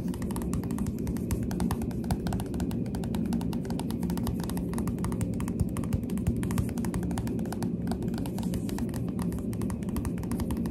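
Finger pads tap quickly on the glossy cover of a Goosebumps paperback book, with long dark nails on the hand. The result is a steady, rapid stream of soft, dull taps that are heavy in the low end, with short clicky ticks on top. Each tap dies away almost at once.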